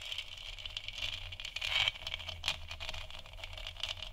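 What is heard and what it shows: Long nails tap and scratch the sides and top of a large, hollow, textured plastic moon lamp sphere. The result is a steady stream of quick, dry, bright clicks and scratchy rattling, centered around 3 kHz, with a faint low hum underneath. A louder cluster of taps comes near the middle.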